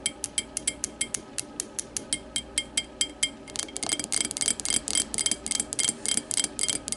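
Long matte nails tap an empty clear glass tumbler lying on its side, striking its thick base rim and its side. Bright, short clicks with a glassy ring near 3.2 kHz come in an even rhythm at first. Just before the halfway point they quicken into a dense, overlapping flurry.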